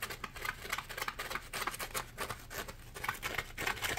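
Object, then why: Polymer foam sponge. A dry, porous, palm-sized yellow Scrub Daddy polymer foam sponge is scratched and squeezed with fingertips and nails. The result is a quick, uneven series of bright, crackly scratching and rustling bursts with short, dry decays over a faint low hum.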